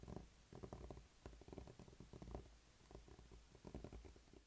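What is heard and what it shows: A small, solid blue spiky rubber massage ball is rubbed and pressed with the fingertips on a dark tabletop. It makes soft, dull, low rumbling squeaks and rubbing scrapes in uneven bursts, with little brightness.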